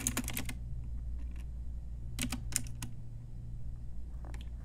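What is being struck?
Plastic mechanical keyboard keys.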